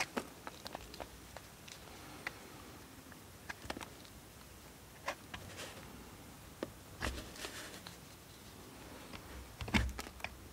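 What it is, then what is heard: Bar of soap scraped with a knife. A solid, carved blue bar of soap held in the hand is scraped with a steel multitool knife. Soft, dry scratches and small clicks come at irregular intervals over a quiet background, with a slightly louder scrape near the end.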